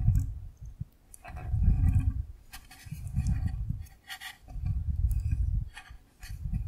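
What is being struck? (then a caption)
Clear plastic box filled with gel water beads. A clear rectangular plastic container full of yellow gel water beads is held at an angle and shaken by hand, with fingers on the side. It gives soft, low, squishy sloshing in uneven surges, with faint bright clicks of the beads over the top.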